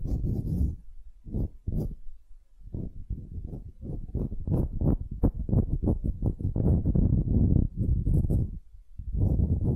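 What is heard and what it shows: A palm-sized, solid, light wooden ball held in one hand is scratched and tapped with long painted nails. The result is a quick, irregular run of soft, dull, low, woody taps mixed with brief scratchy rubs. The sounds die away almost instantly, with short pauses between bursts.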